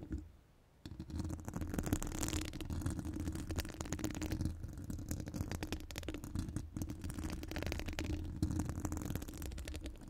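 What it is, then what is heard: Metal microphone grille being scratched. Long gold acrylic nails decorated with metal charms and rhinestones scratch the hollow steel mesh dome grille of a studio microphone. After a near-silent first moment, a dense, continuous scratching and rattling begins, heavy in the low end with a steady hum-like rumble and rapid, fine clicks throughout.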